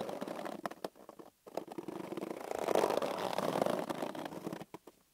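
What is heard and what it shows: Fingertips and palms squeeze and rub a hand-sized, hollow, green inflated latex balloon held on a table. Short rubbery creaks and squeaks come in quick, uneven bursts separated by brief silences. They swell into a louder, sustained squeal centered around 600 Hz before fading out in a few final squeaks.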